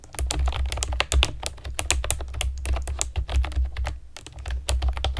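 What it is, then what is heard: Plastic keyboard being typed on. Long nails and fingertips type quickly on a pastel plastic keyboard with round keycaps. Dense, bright clicks and clacks come in a steady stream over a low rumble, with no speech.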